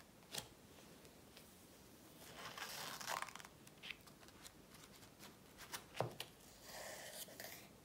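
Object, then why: Paperback workbook with glossy card cover. Long nails tap and scratch the glossy front cover of an A4 paperback workbook lying flat. Sharp, bright clicks stand out over longer, airy scraping stretches. The sound is quiet and dry, with little low end.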